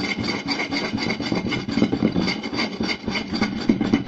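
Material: Wood.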